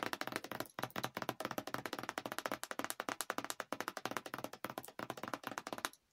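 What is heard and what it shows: Long decorated acrylic nails tap rapidly on the plastic cap and paperboard sides of a yellow Chobani cookie dough coffee creamer carton, hollow and apparently filled, held close. The result is a fast, steady stream of dry, bright clicks with almost no ring, a brief pause just before 1 second, and then the tapping stops abruptly near the end.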